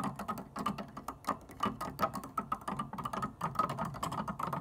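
Long dark nails and fingertips of both hands tap across the black and white plastic keys of an organ keyboard without playing notes. The result is a quick, uneven patter of short clicky taps with a hollow plastic resonance and a faint ringing tone around 1.3 kHz.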